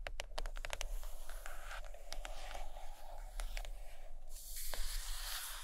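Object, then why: Hardcover book, board cover. Long acrylic nails tap and scratch the cover of a large, solid purple hardcover book lying closed on a carpet. A run of quick, sharp clicking taps gives way to soft, scratchy brushing strokes. The sound turns into a brighter, hissing scrape near the end.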